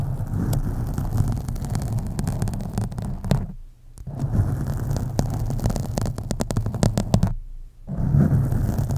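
Fingernails scratch the sides of a black foam microphone windscreen, making a dense, low, rumbling scrape with crackling clicks throughout. The scratching drops to near silence twice as the hands are briefly lifted, then resumes.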